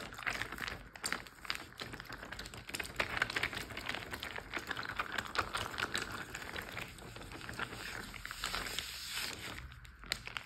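A large clear plastic Ziploc bag full of water is tapped and crinkled with fingertips and nails. The result is a steady, dense stream of bright plastic crinkles and quick tapping clicks, with faint sloshing underneath, staying close and fairly even in level throughout.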